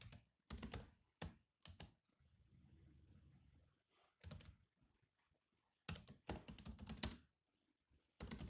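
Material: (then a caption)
Plastic. Fingertips type on a grey laptop keyboard with black plastic keys, producing bursts of quick, clicky key taps with a soft low thump beneath. Short runs of rapid clicks are separated by brief pauses, with a faint low rumble filling the quieter stretch near the middle.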